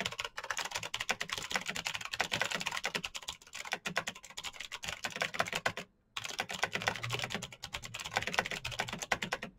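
Fingertips type fast and continuously on a black plastic mechanical keyboard with RGB keycaps, producing a dense stream of sharp, bright clicks with little low end. The typing briefly stops for a moment just before the six-second mark, then resumes at the same quick pace.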